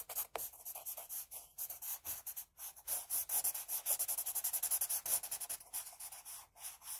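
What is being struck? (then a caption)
Graphite pencil on paper sheet. A pink wooden pencil, held low, shades hair on a flat sheet of drawing paper with rapid back-and-forth strokes. Each stroke makes a quiet, bright, hissing scratch as the graphite rubs across the paper, and the strokes repeat in a quick, uneven rhythm.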